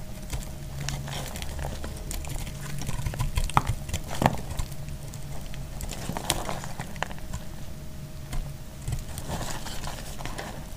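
A utility knife blade cuts into a solid bar of dried light blue soap held in the hand, breaking off brittle chunks. Dry scraping and crackling run throughout, broken by a few sharp, bright snaps as pieces crack away, over a steady low hum.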